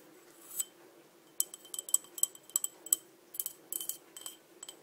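Long dark nails tap and scratch the outside of a small, empty, green patterned crackle-glass cup held in the hand. About fifteen quick, bright clinks with very short ring come in irregular bursts. Faint scratching sits between them over a quiet background.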